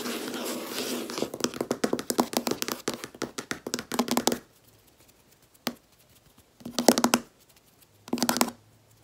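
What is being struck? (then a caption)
Laminate desk top. Long red-painted nails on both hands tap and knock on a large, solid, flat white laminate desk top. A dense run of rapid, dry clicking taps with a low knock around 240 Hz fills the first four seconds. After a pause and a single tap, two more quick bursts of tapping follow, each dying away almost instantly.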